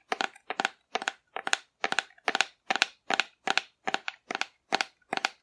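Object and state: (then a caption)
Cardboard figure tapped and scratched with nails. A hollow painted cardboard dinosaur figure, held upright, is tapped and scratched with long nails. Thirteen crisp, dry, crackly bursts come in a steady rhythm, each a quick cluster of scratchy clicks that are bright and papery with no low end. Every burst stops almost at once with no ring, leaving short silences between them.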